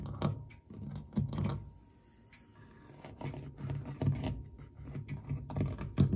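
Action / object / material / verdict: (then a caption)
scrape / cast brass corner ornament and metal clock dial / brass / none. Fingertips and short nails quickly scratch and tap the ornate cast brass corner ornament of a brushed metal clock dial framed by a wooden case, and the flat metal dial beside it. Soft, dull taps and scratchy rubbing come in uneven bursts, heavy in the low end with a brief lull in the middle and a faint steady tone underneath. Each tap dies away almost at once with no ring.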